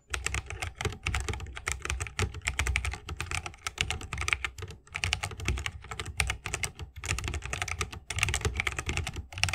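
Fingertips of both hands type continuously on a 60% mechanical keyboard with plastic keycaps and tactile Holy Panda switches, set in a bamboo wooden case. A rapid, steady stream of short, crisp keystrokes combines a bright clack with a deeper thock, broken only by brief pauses.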